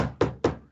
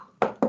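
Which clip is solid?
The first.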